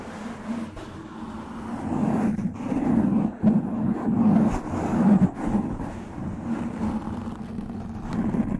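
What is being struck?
Foam microphone windscreen.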